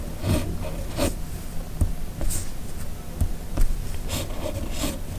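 A hand-held red plastic fountain pen with a steel nib scratches across a flat white sheet of paper while writing cursive letters. Short, dry, scratchy strokes come in quick bursts with bright hissy edges over a steady low rumble.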